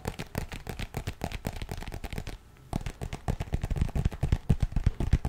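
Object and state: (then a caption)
Fabric zipper pouch. Fingertips and nails rapidly tap and scratch the surface of a lightly filled, printed fabric pencil-case pouch with a zipper. The taps are quick, dull, low-pitched thumps with short scratchy edges, pausing briefly midway before resuming louder and faster.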